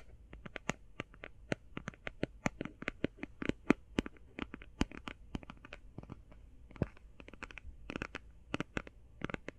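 Long painted fingernails tap quickly and scratch lightly on a closed, flat, rectangular, hand-sized cardboard eyeshadow palette. The result is a rapid, uneven stream of crisp, dry clicks with bright tops and almost no ring, over a faint low background hum.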